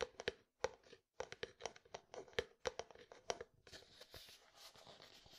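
Fingertips and nails tap and scratch a medium frosted plastic jar with white contents. A quick, uneven run of dry, hollow taps with a mid-pitched knock and almost no ring gives way after about three and a half seconds to a steady, bright scratching rasp.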